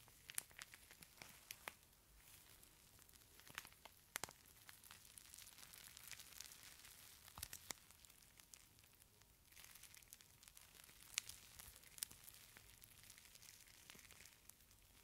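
A small, palm-size clear plastic pouch filled with purple beads is held close to the microphone and squeezed and crinkled between the fingers. It gives a quiet, bright crinkling and crackling hiss full of sharp little ticks and pops, with very little low end.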